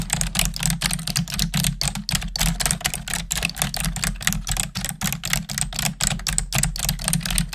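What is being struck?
Plastic desktop computer keyboard.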